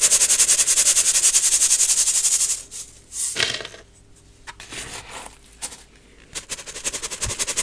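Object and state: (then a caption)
Metal mesh sieve of baking soda being shaken. A small gold metal mesh sieve, partly full of baking soda clumps, is shaken or tapped over a clear plastic bowl to sift the powder. A fast, steady run of bright, crunchy rasping taps fills the first few seconds, thins to a few scattered soft taps and quiet gaps, then picks up again in a quick rhythmic patter at the end.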